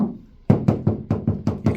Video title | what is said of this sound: MODIGT Sound Deadener: Unboxing Review | You can definitely hear that's hollow.